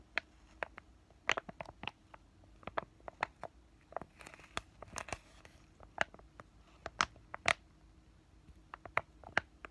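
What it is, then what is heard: Plastic-foil sachet being crinkled. A flat, thin, white printed laminated plastic sachet of pain relief patches is held in both hands and crinkled and tapped with fingertips and short nails. Short, sharp, bright crackling clicks come in a steady, irregular series, with a denser stretch of rustling crinkles near the middle. Each tap dies away almost instantly over a quiet background.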